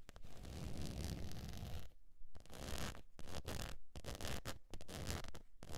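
Long nails scratch the face and side of a beige textured faux leather zip wallet held at an angle over fur. The first two seconds are a dense, continuous rasping scratch, followed by shorter bursts of scratching broken by brief quiet gaps, about two per second. The sound is a soft, low-heavy rumble with a faint bright hiss on top.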